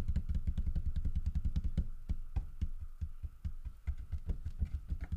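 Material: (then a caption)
Wood. Flat palms and fingertips rub the grooved carved side of a large, solid carved wood bear figurine. The result is a quick, uneven run of deep, dull thumps and scuffs with almost no ring, heavy in the low end and with little brightness.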